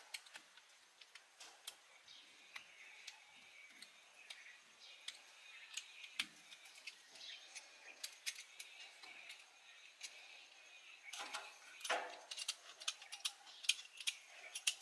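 A small solid pink soap bar is held in one hand and carved with a hand-held blade that has a blue handle, shaving and scraping thin curls onto a pile of pink soap shavings on a flat surface. The clip is made up of quiet, bright, crisp scraping ticks, with a denser run of louder scrapes near the end.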